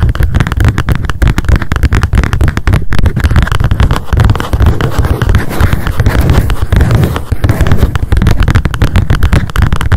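Long decorated acrylic nails tap fast on a small pink m.memo spiral-bound paper notebook with a card cover and a solid stack of pages, held in the hands. The rapid taps blur into a steady, dense patter of dull, low thuds with very short decay and little brightness, continuing evenly for the full ten seconds.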